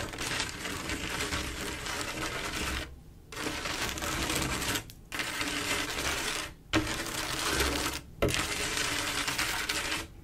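Long acrylic nails on both hands scratch and tap across a flat mirror-glass mosaic tile picture, a panel of silver mirror-glass mosaic tiles set in grout. The result is a dense, bright, gritty rasping with faint clicks, in steady stretches broken by short pauses of near silence.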